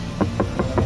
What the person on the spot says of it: Escuchen eso, estoy golpeando el material y el material, aunque no tiene soporte en este punto, se siente sólido como si fuera una pared completamente rígida.